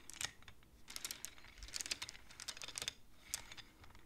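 Both hands push and tap the painted wooden beads of a wooden abacus with long nails, clacking the beads together. Quick, dry, bright clicks come in irregular bursts, with no ring after each tap and little low-end weight. The sound is soft and close.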